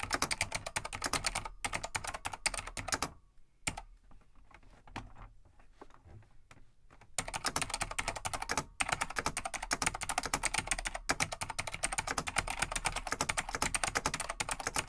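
Fingertips of both hands type on a large beige plastic vintage full-size mechanical keyboard (Laser XT/AT) with light plastic keycaps. Fast, bright, clacky keystrokes with short dry rattles run steadily, then drop to a quieter stretch of sparse, softer taps in the middle. Rapid typing then resumes at full pace.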